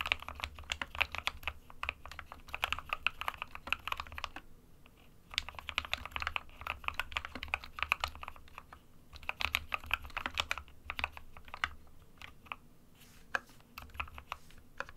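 Fingertips of both hands type rapidly on an SK61 compact 60% plastic mechanical keyboard with white and grey keycaps. Dense bursts of short, bright, crisp key clacks come with a faint low thump beneath, broken by brief pauses near 4.5 and 13 seconds.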